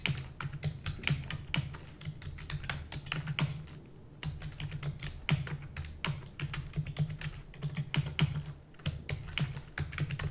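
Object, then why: Plastic computer keyboard. A full-size black plastic computer keyboard with hollow keys is typed rapidly with the long nails and fingertips of both hands. The result is a dense stream of sharp, bright clicks and clacks over a steady low hum, with brief lulls around 4 and 9 seconds.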